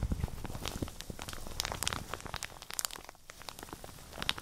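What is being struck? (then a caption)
Plastic shower cap. A printed plastic shower cap is bunched in both hands and crumpled with the fingertips and nails close to the microphones. Dense crinkling and crackling fill the clip, with many sharp bright ticks over a low rustle. Louder crackles cluster around the middle and at the very end.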